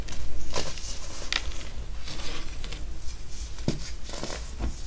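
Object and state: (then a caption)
Pressed baking soda chunk being crumbled. A solid purple chunk of pressed baking soda, held over a heap of purple baking soda powder, is broken and crumbled by both hands' fingers, and the powder is squeezed. Dry, crunchy crackles and crumbling bursts sound irregularly over a steady low hum, each snap with bright gritty edges that fade almost instantly.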